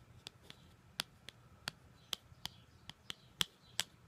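Long gold glitter nails tap and scratch the surface of a flat white paperboard card or booklet cover, printed with a black line drawing and held up close. Eleven short, dry, bright clicks come at an irregular pace, peaking around 3.3 kHz, with faint soft scratching between them over a quiet low hum.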